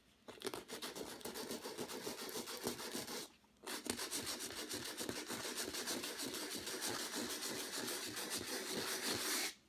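A folded piece of sandpaper held in the fingertips is rubbed back and forth over a square stretched canvas board with a thick, rough, light-blue and white acrylic texture layer, lying flat on a dark table. Dense, bright, scratchy rasping strokes continue steadily, break off briefly for about half a second, then resume until they stop just before the end.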